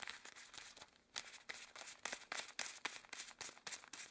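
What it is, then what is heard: Rubber gloves rubbed together. Long cream rubber gloves worn on both hands flex, interlace and rub, the rubber crinkling and squeaking in quick, uneven bursts. The sound is bright and dry with almost no low end, and each burst cuts off sharply.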